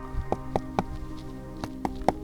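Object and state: Hollow yareta cushion plant.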